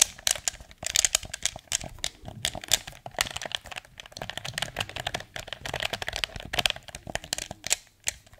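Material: Plastic.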